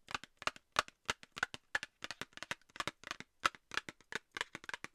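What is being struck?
Small cardboard box tapped with fingernails.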